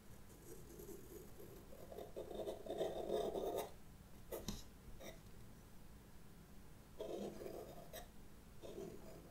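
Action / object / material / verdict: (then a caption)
scrape / pastel pencil on paper sketchbook page / paper / none. A white pastel pencil point scratches short strokes across flat black drawing paper in a sketchbook while drawing a witch hat, with the other hand, long red nails, resting on the page. Soft, raspy midrange scratching comes in bursts, with a few brief, sharper ticks in between.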